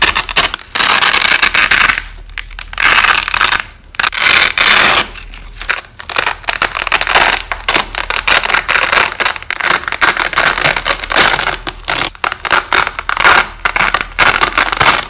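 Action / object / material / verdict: scrape / nylon hook-and-loop tape / nylon / none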